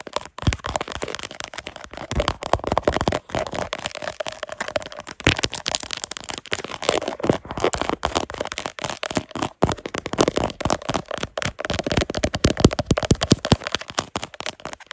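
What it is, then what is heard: Textured plastic phone case. Long nails rapidly scratch and tap across the ridged back of a black plastic phone case with a carbon-fiber-style ribbed texture, on a phone mounted on a tripod. The result is a fast, dense stream of dry crackling scrapes and sharp little clicks that runs steadily throughout.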